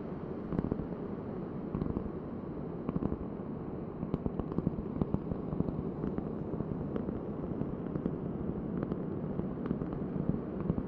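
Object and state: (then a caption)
Cork board tapped with fingernails. A large, thin, solid round cork board held at an angle is tapped with long painted nails. A dense, soft, low-pitched patter runs throughout, with sharper, dry taps popping out that die away almost instantly and carry little high brightness.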